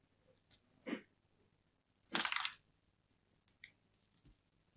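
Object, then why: Bar of soap. A small solid bar of soap with turquoise and white stripes, held in both hands, is scraped and carved with a small metal blade. Seven quiet, crisp crunches are heard as crumbly shavings break off the edge, with one longer, louder scraping crunch in the middle. The sounds are bright and dry, with short bursts separated by near silence.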